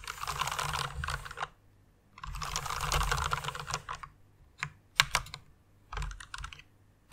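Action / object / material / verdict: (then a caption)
tap / plastic mechanical keyboard / plastic / none. Fingertips with long nails type on a white plastic rainbow mechanical keyboard, producing dense bursts of rapid, bright clacking. Two long runs of fast typing give way to sparser, sharper individual key clicks and another short flurry, ending on a loud single click.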